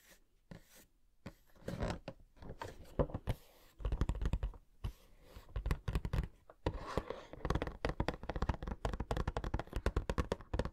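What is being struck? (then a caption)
Small cardboard box with plastic window holding a figure. A small, hollow cardboard Funko Pop box (Coca-Cola Can, no. 78) with a clear plastic window and a figure inside is held in one hand and tapped with fingertips and short nails on its printed cardboard sides and window. The result is rapid, irregular runs of short, dull, low-heavy taps with quick hollow knocks and light scratchy ticks, each dying away almost instantly.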